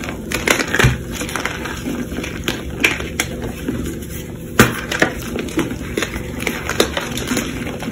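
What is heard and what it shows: Chalk-covered bare fingertips squeeze, crush and rub damp reformed chunks of pink chalk in a tray bed of loose pink chalk powder. The result is a steady stream of soft, gritty crunches and crumbles, with sharper dry snaps spread throughout.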